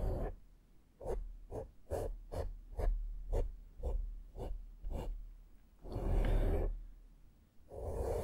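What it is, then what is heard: Foam microphone windscreen being brushed. A small flat makeup brush is stroked across a black porous foam microphone windscreen, giving a series of short, soft, rumbly brushing swishes. The sound ends with two longer, fuller sweeps.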